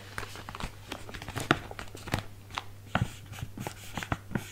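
A small, filled, printed plastic/foil bag of Stegeman biscuits is held in both hands while fingertips tap and rub it. The result is a run of sharp, brief crinkles and taps scattered over a low, steady hum.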